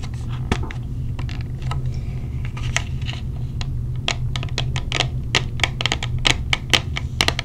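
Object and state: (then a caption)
Clear plastic earplug case being tapped. A small clear plastic case of orange silicone earplugs is knocked with a knuckle, then tapped with long nails. The result is a run of sharp, bright, quick-decaying clicks, growing denser toward the end, over a steady low hum.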